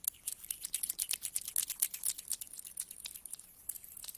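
Fingertips scratch through a pile of mixed small solid metal coins on a carpet and rub the coins together, then flat hands spread them out. The result is a quiet, irregular stream of quick, bright metallic clicks and scrapes that die away almost instantly, with almost no low end.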